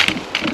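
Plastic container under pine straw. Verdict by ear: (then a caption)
Hollow. A hiking stick probes the pine straw around a tree and taps a plastic geocache container, giving three quick, light, hollow taps with a bright, papery texture and a short decay. The hollow plastic sound confirms the container has been found.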